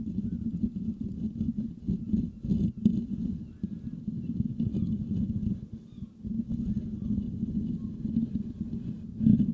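Fingertips and nails of both hands scratch the hollow metal mesh grille of a Blue Yeti microphone. A dense, continuous low scratching rumble centered near 200 Hz carries on throughout, briefly thinning around the six-second mark before resuming and swelling at the end.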